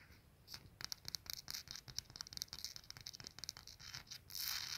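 Fingertips and nails tap and scratch the glazed dish and ribbed base of a small, hollow, dark-glazed ceramic soap dispenser with an attached dish and a metal pump on top. The result is a quick run of dry, bright clicks and short scratchy strokes with almost no ring, ending in a louder, sustained scrape.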